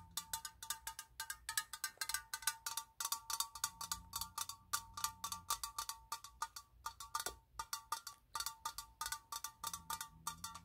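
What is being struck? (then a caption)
Metal aerosol spray can. A hand-sized, hollow blue and white metal aerosol spray can with a green-yellow cap is tapped with pink-painted fingernails while held in the hands. A rapid series of short, bright metallic clicks rings out, each with a hollow tone near 1.7 kHz. Every tap dies away almost instantly.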